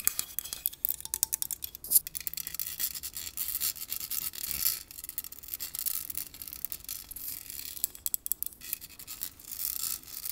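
Long painted nails scratch and rub across the rounded metal mesh grille of a large black Blue Yeti-style USB microphone on a stand, with the hollow head serving only as a prop while a separate earbud mic picks up the sound. The result is a quiet, bright, dry rasp of rapid ticks and scrapes, almost all high in pitch with almost no low end, like toothbrush bristles on metal.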